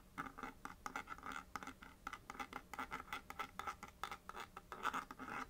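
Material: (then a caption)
Cardboard. Long nails scratch quickly over the face of a small, hollow printed paperboard box held on a knit surface, tracing letters. The result is a rapid, dry run of short scratching strokes with a papery rasp centered around 1.3 kHz and some brighter hiss, with very little low end.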